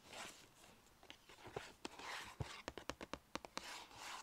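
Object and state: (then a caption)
Paper shopping bag. Long nails scratch and tap the sides and rim of a small striped Sephora paper bag with ribbon handles. Soft, breathy rustling scrapes give way to a quick run of 13 crisp, dry taps. Each tap cuts off almost instantly, with a bright papery edge.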